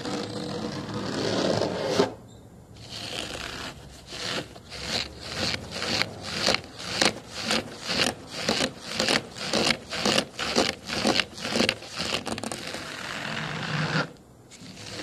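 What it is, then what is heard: Mesh-fabric booster seat, scratched. Fingertips and nails scratch and rub across the black mesh-fabric cover of a large, padded, foam child booster car seat lying on a wooden table. A steady rubbing opens the clip, then after a short pause come rhythmic, bright scratching strokes at about two per second. The strokes stop briefly near the end before the rubbing resumes.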